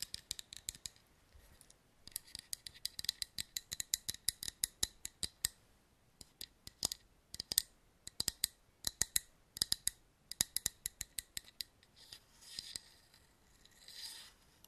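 A tall glass wine bottle with a cork, painted white and grey with a rough glitter-speckled coating, is held in the hand and scratched with fingernails along its textured body. Dozens of quick, sharp, bright ticks and scrapes come in bursts with short pauses, almost all high in pitch with no low end. The clip ends in two softer, smoother rasping strokes.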